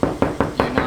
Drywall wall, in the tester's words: knock on and it's hollow, that's drywall